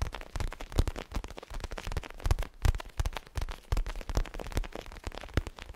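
Fingertips and nails tap and scratch a small zigzag-patterned pillow with a crinkly plastic cover, held in both hands. Quick, uneven taps land in a steady patter of short, dull low thumps, broken by brief bright crinkling scrapes. Each tap dies away almost at once.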